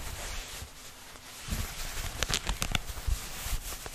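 Fingertips and nails scratch light-wash denim jeans, a flexible cloth with a pocket and seams, held up behind the microphone. A soft, steady fabric hiss gives way after about a second and a half to louder, rough scratching with a low rumble. Several sharp, bright scrapes stand out near the end.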